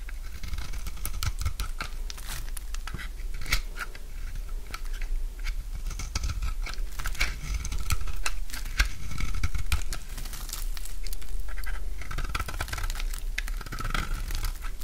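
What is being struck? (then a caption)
Bar of soap cut with a knife. A utility knife scrapes and cuts crumbly shavings from a solid oval bar of dry orange soap. The result is a steady run of short, dry scraping and crunching cuts over a low rumble, with bright crackly edges that swell and fade.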